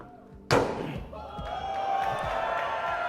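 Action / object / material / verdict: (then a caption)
strike / stainless steel truck door panel / stainless steel / solid. A sledgehammer strikes the door of a Cybertruck, whose body is an ultra-hard, cold-rolled stainless steel alloy exoskeleton. A single sharp, heavy slam lands and decays quickly, then a sustained, rising background wash with steady tonal lines takes over. The door sounds solid.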